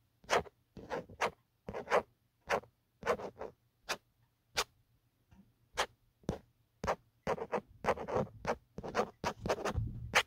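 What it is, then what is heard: Plastic phone case. A fingertip and nail scratch the grainy, textured hard plastic back of an empty black Otterbox phone case. The result is a series of short, dry, bright scratching bursts separated by brief pauses, and they come closer together toward the end.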